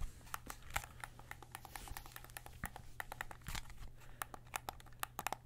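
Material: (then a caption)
Plastic. Fingertips press and click the buttons and thumbsticks of a white and black plastic PS5 controller, a hollow handheld held close in both hands, and tap its shell. Many short, dry clicks and taps follow one another with bright, crisp edges, some louder than others. A steady low hum runs underneath.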